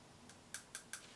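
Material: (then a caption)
Steel. A steel plane blade is tapped against the bottom of teeth, giving four short, high-pitched clicks with a bright ring around 1.6 kHz. The high pitch marks it as good, hard steel rather than soft, low-carbon steel, which would sound dull and lower.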